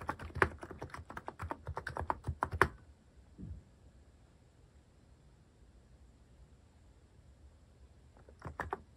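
Fingertips press the keys of a cream plastic-case mechanical keyboard with cat and paw-shaped plastic keycaps, typing slowly. A burst of dense, clacky keystrokes runs for under three seconds, followed by a soft thud and a long near-silent pause. A few more clicks return at the end.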